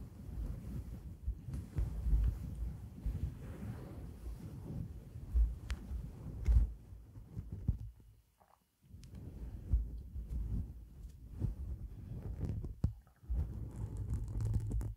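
Long black acrylic nails scratch and rub through the fibers of a fluffy white synthetic fur microphone windscreen. The result is a deep, muffled rumbling and soft thudding, almost all in the low range, with scattered faint crackles. It cuts to near silence for about a second in the middle before the rubbing resumes.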